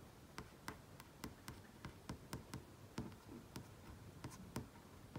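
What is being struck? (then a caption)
Flat-panel TV screen. Fingertips and nails tap and trace across the surface of a large flat-panel TV screen. Short, dry clicks land in an uneven rhythm over a soft, low rustling of the tracing, each tap with a bright edge that stops almost at once.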